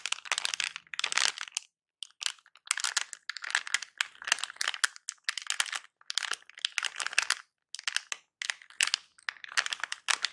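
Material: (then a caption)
Plastic film. Fingers crinkle, squeeze and scratch a small silver plastic anti-static bag wrapped around a battery. Bursts of dry, bright crinkling and crackling come in quick clusters separated by short silences. The sound has almost no low end and each crackle stops dead with no ring.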